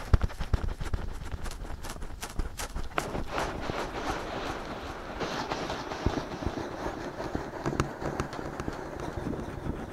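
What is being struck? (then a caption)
Silicone ears of a binaural microphone. Fingertips scratch and cup the soft silicone ears of a binaural microphone with both hands, making dense, scratchy rustling over deep, muffled thumps. Brief bright crackles repeat irregularly throughout, with a cupped, hollow-sounding quality at times.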